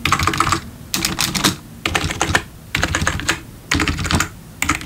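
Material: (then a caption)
Plastic. Fingertips tap the keys of a black plastic backlit computer keyboard, at times with one hand. Short bursts of quick, clicky keystrokes with a bright edge alternate with brief quiet gaps, repeating steadily through the clip.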